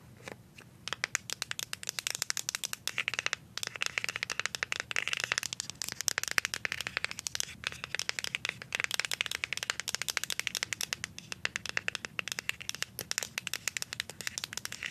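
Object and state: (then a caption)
Plastic deodorant stick. A plastic deodorant stick is held upright and tapped on its front label with paper clip nails. The result is a rapid, continuous stream of sharp, bright plastic clicks and crackles that stop almost instantly, with little low end.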